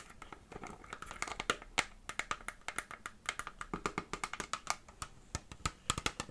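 Long fingernails tap and scratch the hollow base of an empty clear PET plastic water bottle. A quick, uneven stream of sharp, dry clicks with almost no ring sounds over faint scratchy rustling, centred on a bright tone around 2.1 kHz.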